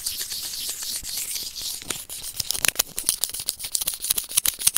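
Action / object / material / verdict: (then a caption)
scrape / plastic earphone inline remote and plastic tweezers / plastic / none. A white plastic earphone inline remote microphone resting on felt is gently scratched with white plastic tweezers. A steady, bright, airy scratching for about two seconds gives way to a quick run of sharp, dry plastic ticks and scrapes that are close-up and very high-pitched with almost no low end.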